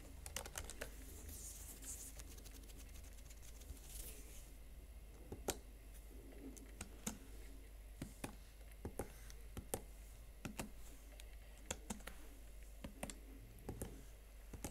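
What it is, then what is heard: Plastic laptop keyboard keys. Fingertips and nails tap individual chiclet plastic keys on the slim keyboard of a Huawei MateBook X Pro laptop. The result is a quiet run of sharp, short clicks and clacks, some louder than others, over a steady low hum.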